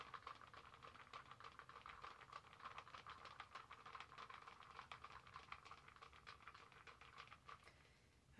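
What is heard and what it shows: Long manicured nails tap quickly and unevenly on a large reusable plastic Starbucks cold cup with a lid and straw, held in one hand and partly filled with a pink drink. The result is a soft, steady patter of light clicky ticks with a hollow ring around 1.2 kHz and bright edges, with no low end.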